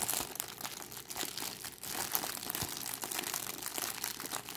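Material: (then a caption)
Plastic film. A crumpled clear cellophane plastic bag with a red price label is held in both hands and squeezed by fingers with long decorated nails. It gives a steady, bright crinkling made of dense crackles and crunches, mostly high-pitched, for the whole clip.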